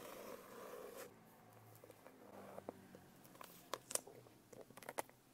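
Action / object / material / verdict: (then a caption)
tap / hardcover notebook with a foil-laminated cover / foil-laminated board / none. Long nails tap on a medium hardcover notebook with an iridescent holographic foil cover, then tap along its spine and edge. A soft, scratchy rustle in the first second gives way to quiet, then a run of sharp, dry clicks with almost no ring.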